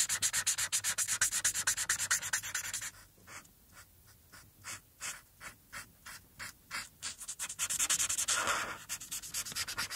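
A green felt-tip alcohol marker, held in the fingertips, rubs back and forth in dense coloring strokes across a thin sheet of white paper lying flat on a hard surface. Rapid, bright, scratchy strokes run together at first, then slow into separate soft swishes, and finally speed up into continuous dense scribbling again.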